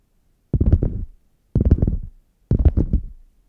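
Long nails scratch and tap the padded top strip near the handle of a red faux leather zip hard case lying flat, hollow and closed. Three short bursts of muffled, low, thumpy scratching and tapping come about a second apart, each fading quickly with almost no ring, and a fourth begins at the very end.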